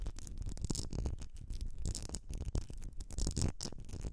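Long nails scratch and tap the sides of a medium etched glass candle jar filled with solid wax, making a busy run of dense, rattly scraping with bright edges and a low thumpy body. The jar is tilted at the end.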